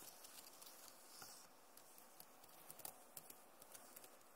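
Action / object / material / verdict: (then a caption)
tap / plastic laptop keyboard keys / plastic / none. Long nails slowly tap the plastic keys of a backlit Acer laptop keyboard. Soft, scattered clicky taps with bright edges sound over a faint steady hiss, and a few taps land sharper than the rest.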